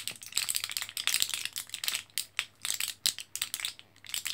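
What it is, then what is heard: Plastic and foil blister pack being crinkled. A full, small flat orange foil-backed blister card of L-carnitine capsules, plastic and foil, is held in both hands above bubble wrap while fingertips press and crinkle the blisters. Many quick, bright crackles and clicks overlap one another. The result is a dense, high rattling crinkle with no low end.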